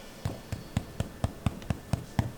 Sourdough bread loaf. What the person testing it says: Hear that sound? That's what it's supposed to sound like.